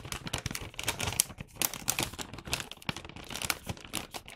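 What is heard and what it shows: Hands press, flatten and rub a medium red Santa-print paper gift bag, hollow and flattened, then lift and turn it. The result is dense, bright crinkling and rustling paper sounds with many quick, short crackles.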